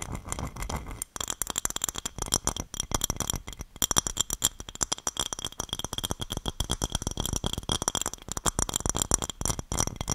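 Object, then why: Small glass dish. Long dark-painted nails tap and scratch a small, shallow, hollow and empty red glass dish held in both hands close to the microphone. The result is a dense stream of quick, dry clicking taps with a bright glassy ring and scratchy rasps, and the hits crowd together too closely to count.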